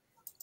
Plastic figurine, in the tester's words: if you can kind of hear the tapping it is a hollow plastic